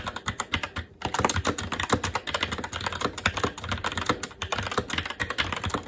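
Both hands' fingertips type continuously on a SteelSeries Apex 7 TKL mechanical keyboard with Red switches and black plastic keycaps on a metal plate, in a hollow RGB-backlit case resting on a desk. The result is a rapid, steady stream of short, sharp plastic clacks with a bright top end and a light low thump, broken only by a brief pause near the first second.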